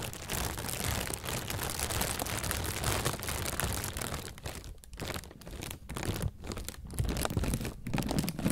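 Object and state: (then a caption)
Plastic bag, crinkled. An inflated, hollow white plastic bag is squeezed and crinkled with the hands, producing dense, continuous rustling and crackling with a heavy low-end body. After about four seconds the crinkling breaks into short bursts separated by brief pauses, then builds back to louder, fuller crunching at the end.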